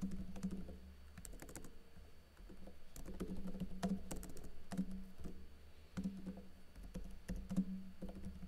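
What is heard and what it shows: Fingertips with short blue-painted nails type rapidly on a plastic backlit laptop keyboard with plastic keycaps and teal backlight. Quick, dry plastic key taps and clicks patter in uneven bursts over a steady low hum, each tap dying away almost instantly.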